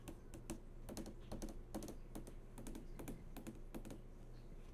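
Long nails tap and trace across the hard, glossy panel of a large flat-screen TV that is switched on. Quick, light clicking taps land in irregular clusters over a steady low hum, with soft sliding strokes between them. The sound stays quiet throughout.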